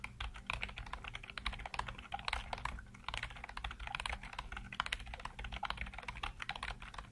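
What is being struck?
Plastic computer keyboard.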